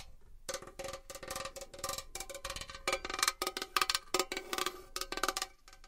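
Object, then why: Metal box. Long fingernails tap and scratch on a metal box for ASMR, producing a quick, irregular run of bright, clicky taps with a short metallic ring near 1.2 kHz. Scratchy rasps fill the gaps between the taps, and there is almost no low end.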